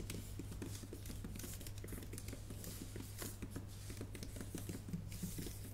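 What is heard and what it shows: A MacBook Pro keyboard with plastic keys in a solid aluminum body is typed on with long painted nails and fingertips. Quiet, rapid, light clicking taps run steadily throughout, with brighter nail clicks over a constant low hum.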